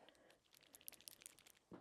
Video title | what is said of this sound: NO BUY YEAR I Eye Reckoning: Part 1 | You have to shake it. There are little balls inside.